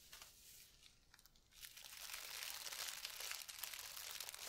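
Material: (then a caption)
Plastic. A clear plastic package full of red metallic tinsel strands, topped by a red cardboard header card, is held up and crinkled and squeezed by a hand with long red nails. Bright, dense crinkling and crunching starts softly and grows louder and busier about halfway through, with almost no low end.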